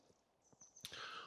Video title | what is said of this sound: I can’t choose ? New kit and feeding | Just put me ear on it and tap it. You can hear them vibrating.